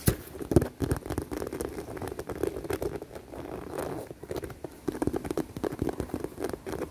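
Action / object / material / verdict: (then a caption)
tap / faux leather handbag / faux leather / none. Long dark-painted nails tap and scratch along the top seam of a hollow, dark navy smooth faux leather handbag with a buckle strap. The result is a steady patter of soft, dull taps mixed with brief scratchy rustles, low and muffled with almost no ring.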